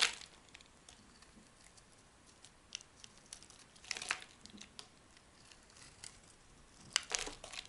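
A solid yellow-green oval soap bar held in the hand is carved with a metal blade, peeling off long curled strips. Quiet, dry, crisp scraping and crinkling ticks come in bright, high bursts, with denser scrapes at the start, around the middle and near the end.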